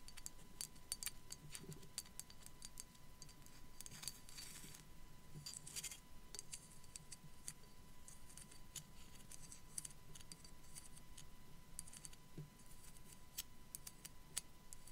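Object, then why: Small ceramic skull ornament. A small hollow white ceramic sugar skull is held while long black acrylic nails tap and scratch across its face and teeth. Quick, dry clicks with bright high-frequency ticks run alongside soft scratching through the whole clip. The sound is quiet and close, and the taps die away almost instantly.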